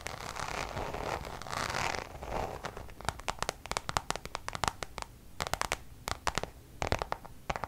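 Long nails scratch across the face of a Louis Vuitton coated-canvas zip pouch, producing about two seconds of steady, bright rasping that swells and fades. This gives way to quick, sharp scratchy clicks in short irregular bursts, each dying away almost instantly.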